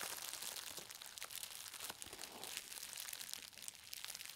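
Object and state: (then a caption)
Bubble-wrapped parcel. Fingertips with long nails press and tap the bubbles of a green plastic bubble-wrapped book package lying on a fabric surface, crushing them. Quiet, bright crinkling and crackling with short sharp pops runs throughout, almost entirely in the high range with very little low end.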